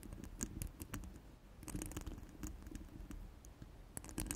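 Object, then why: Steel wire-mesh microphone grille. Very long, pointed black-red nails scratch and tap a round, hollow steel wire-mesh microphone grille resting on a cork mat. The result is a quiet, continuous scratchy patter with a low, rumbly body, punctuated by brief, bright metallic ticks that fade almost instantly.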